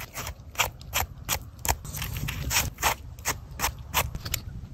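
A Liver Bolete mushroom (Suillellus amygdalinus), found upturned by an animal, is tapped before slicing, giving a run of short, dry, clicking taps over a low rumble. The mushroom is solid and firm, with a chunky texture.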